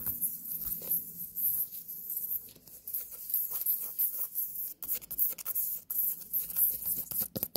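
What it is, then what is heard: Small white pumpkin. Long nails tap and scratch the rind and stem of a small, whole white pumpkin. Soft, dry, hollow-sounding taps mix with a continuous fine, hissy scratching.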